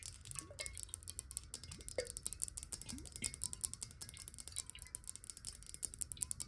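A clear, hollow, square glass water bottle, partly filled with water, is tilted and tapped quickly with long nails. The result is a dense run of bright, short clicks and clinks over a soft low rumble, with sliding tones as the water shifts inside.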